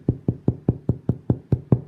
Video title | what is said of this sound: Science In The Kitchen: Cooking Camp (Day 5) | if it sounds nice and hollow like somebody knocking on a door that's perfect that means it's all done